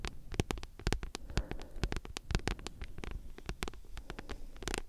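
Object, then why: Thick paperback book with card cover. Long nails scratch and tap rapidly across the glossy card cover and spine of a thick, solid paperback book. The result is a dense run of short, dry clicks and soft low thumps with a faint scratchy texture between them, each tap dying away instantly.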